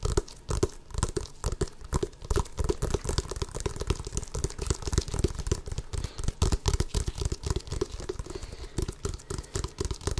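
A full-size, hollow, inflated rubber basketball is held up close to the microphone and scratched and tapped with long fingernails across its pebbled surface. Rapid, dense scratching mixes with soft, low, hollow thumps and a faint tone around 400 Hz. Each tap dies away almost instantly, leaving a continuous crinkly texture.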